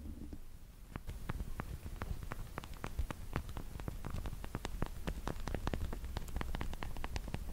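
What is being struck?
Plastic press-on fake nails.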